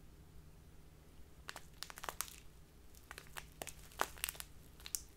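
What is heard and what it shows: A small, crinkly plastic bag full of loose tea is crinkled and rubbed with fingertips and long nails. Quiet, bright, dry crackles come in short bursts over a steady low background hum.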